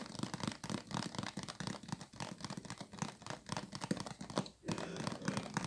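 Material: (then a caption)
Plastic. Long light nails tap and handle a clear plastic water bottle with a green label and cap, partly filled with water and held in both hands. A rapid, steady stream of light, crinkly plastic clicks and taps carries a hollow low thump underneath. There is a brief pause just before the tapping resumes near the end.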